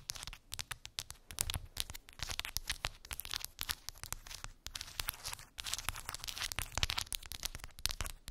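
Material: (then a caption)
Wood. Long pink acrylic nails tap and scratch quickly across rows of round wooden beads on a small, flat cork trigger board. The result is a dense stream of sharp, dry clicks mixed with bright, scratchy rattling, with brief pauses and some soft low thuds underneath.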